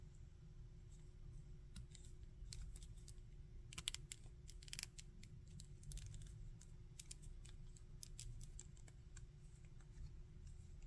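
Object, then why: Small hard-plastic articulated action figure. Fingertips bend and rotate the arm and shoulder joints of a small, hard-plastic articulated Spider-Man action figure held in both hands. The joints make quick, dry ratcheting clicks, sharp and bright, scattered irregularly over a steady low hum.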